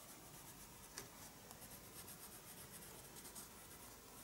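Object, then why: Pencil on paper sketchbook page. A pencil makes slow, light scratching strokes across a page of a spiral-bound paper sketchbook, producing a soft, steady rasp with bright, airy texture. One sharper tick stands out near the start, and the quiet scratching continues evenly to the end.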